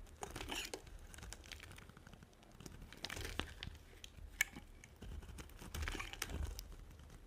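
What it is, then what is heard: Dry soap bar being carved. A small metal blade repeatedly shaves and scratches curls off the edge of a solid, dry, hand-sized white soap bar held in one hand with yellow nails. The result is a steady run of dry, crinkly scraping rasps with bright, crisp edges over a soft low rumble, with occasional sharper clicks as curls break away.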